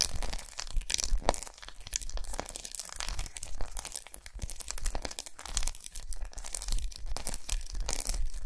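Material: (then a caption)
Chocolate. Long nails rapidly scratch and tap a large unwrapped solid milk chocolate bar with raised squares lying on a towel. The result is a dense stream of crisp, crackling scrapes with bright, rasping texture, broken by quick, dry taps that die away almost instantly.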